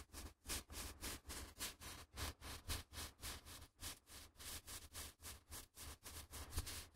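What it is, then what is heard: Stack of printer paper. A latex-gloved hand riffles and flicks the edges of a small stack of thin, flexible white A4 printer paper held just above the recorder's mics. The result is 21 quick, soft, airy rustling bursts with a bright papery hiss, spread over a steady low hum.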